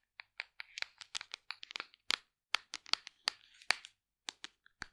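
A large, hollow black plastic supplement tub is tapped on its side and lid with long nails. The result is a quick run of crisp, bright clicking taps with almost no ring and no low end. The taps come in irregular clusters with brief gaps between them.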